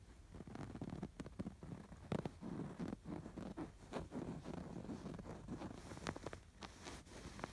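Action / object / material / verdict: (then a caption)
scrape / stuffed canvas pillow with yarn embroidery / canvas, yarn / none. Fingertips and nails scratch along the stitches of a stuffed canvas pillow with raised yarn lattice embroidery. The result is a steady, soft rasping rustle, mostly low and muffled, broken by short, brighter scratchy strokes and clicks that stop almost instantly.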